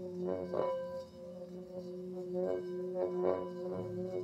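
A medium, hollow, empty brass or bronze singing bowl rests on an open palm while its rim is rubbed in circles with a wooden mallet held in the other hand. A steady ringing tone around 527 Hz with layered overtones hums throughout, swelling and fading in gentle waves as the mallet circles the rim.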